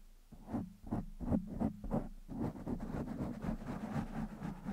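Fingertips of one hand scratch and rub the top of a black foam windscreen on a microphone. A quick series of dull, muffled scratching bursts gives way to a denser, steadier rubbing, all low and thick with no bright edge.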